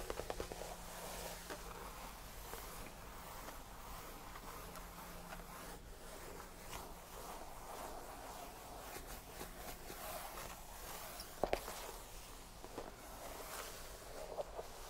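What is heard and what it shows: Fingertips make slow, light scratching and brushing strokes across a cream faux leather tufted padded bench. The sound is a quiet, continuous soft rasp, centered in the mid range with a faint bright hiss. A few brief sharp ticks stand out near the end.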